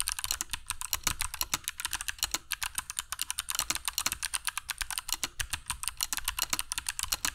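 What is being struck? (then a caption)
Mechanical keyboard with plastic keycaps and clicky switches. Fingertips of both hands type continuously on a compact black mechanical keyboard with dark PBT plastic keycaps and Kailh Box Jade switches, resting on a cork desk mat. A rapid, steady stream of sharp, bright clicks is heard, each with a faint low thud beneath. Every keystroke cuts off almost instantly.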